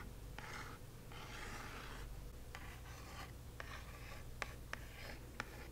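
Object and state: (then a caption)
Cardboard box scratched with nails. Long acrylic nails scratch and trace across the front of a small, hollow, square kraft cardboard box printed "Magic Delivered." Soft, papery rasping strokes come in bursts over a steady low hum, with several sharp nail clicks breaking through near the end.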